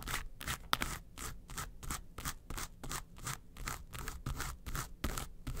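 Long nails scratch the front face of a small, hollow, yellow textured faux-leather makeup suitcase. Quick, unevenly spaced strokes give bright, dry scratching bursts, with a faint hollow low rumble underneath.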